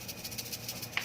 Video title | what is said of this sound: Bon Cabe, Modal Dikit Untung Banyak | ciri-ciri untuk cabe yang sudah kering tuh ada bunyinya kayak gini